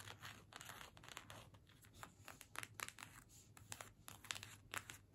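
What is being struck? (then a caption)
Small cardstock paper gift tag. A small, flat cardstock holiday gift tag is held in both hands and scratched with long nails. The result is a quiet run of quick, dry, papery scratches and crinkly rasps with bright edges, over a faint steady low hum.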